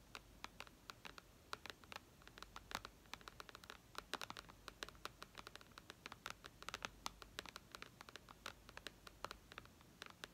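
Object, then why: Glass tablet screen. Long red nails scratch and tap across the glass screen of a flat white iPad lying flat, producing about sixty quick, bright clicks over a soft scratchy hiss. Each tap is short and dry with almost no ring, and the overall level stays quiet.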